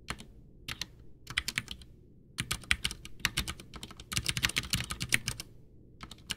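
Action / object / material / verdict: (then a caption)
tap / plastic mechanical keyboard / plastic / none. Both hands type with their fingertips on a full-size, backlit white plastic Ducky One 2 mechanical keyboard with Cherry MX Brown switches and a hollow case, resting on a desk. Quick runs of bright, sharp key clacks come in bursts separated by short pauses. Each keystroke dies away almost instantly, with a faint low thud underneath.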